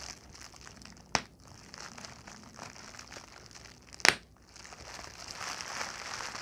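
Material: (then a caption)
Plastic. Fingers with long nails pinch and crinkle a large sheet of clear plastic bubble wrap with air-filled bubbles, making a steady, soft, bright crinkling. Two sharp, brief pops stand out as bubbles burst, then the crinkling grows a little louder toward the end.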